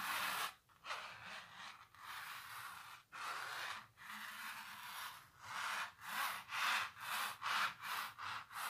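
Long natural nails scratch across a large, textured painted canvas, making dry, hissy scraping strokes that sit mostly in the mid and high range. Longer, steadier strokes give way to quicker, rhythmic back-and-forth scratches toward the end.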